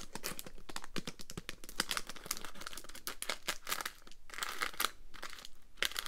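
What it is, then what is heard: Roll of mints in a foil-paper wrapper. A full, roll-shaped pack of Polo spearmint mints in a crinkly printed foil-paper wrapper is held in both hands, then crinkled, squeezed and tapped with long green nails. The result is a steady stream of sharp, bright crackling and crinkling bursts with brief tapping clicks, each dying away almost at once.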